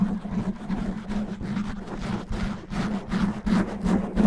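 Long natural nails scratch fast and roughly at a black foam microphone windscreen with both hands. The result is a continuous, dense, rumbling scratch, with a steady low hum near 200 Hz and bursts of brighter rasping that swell and fade.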